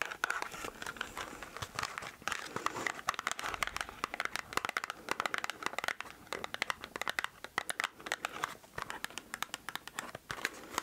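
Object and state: Small cardboard box, full.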